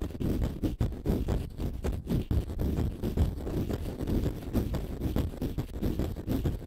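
A small, porous, solid green konjac sponge puff is held in both hands and scratched with fingernails. The result is a dense, continuous stream of muffled scratching and scraping, heavy in the low end with almost no high or bright content. Quick strokes rise and fall in loudness throughout.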